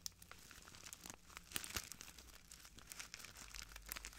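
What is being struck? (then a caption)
Plastic bag of granules. A small clear plastic bag full of translucent granules is crinkled and squeezed by the fingertips of both hands. Quiet, dense, bright crackling and rustling comes in many short bursts, with a few sharper snaps standing out.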